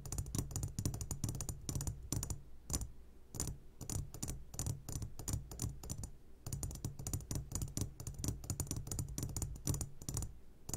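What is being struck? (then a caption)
Glass jar of gummy candies. A medium glass jar full of sugared gummy candies, turned upside down, is tapped on its sides with the short fingertips of both hands. The result is rapid, irregular clicky taps with bright edges and a steady low hum beneath, pausing briefly around 2.5 and 6 seconds.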